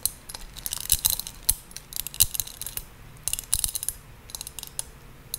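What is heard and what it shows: Long pink nails tap and scratch the ridged shell of a small hollow gold seashell-shaped compact, apparently metal, with a pearl chain attached, held in both hands. Quick, bright clicks and light scratchy rasps come in uneven bursts with very short ring, over a quiet low rumble.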